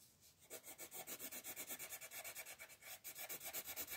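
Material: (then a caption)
Paper. A green wooden colored pencil rubs back and forth across the page of an open paper coloring book lying flat on a table, shading a large area while one hand holds the page. After a quiet start, about twenty quick, bright, scratchy strokes follow in a steady rhythm, each a short hiss of graphite on paper with almost no low end.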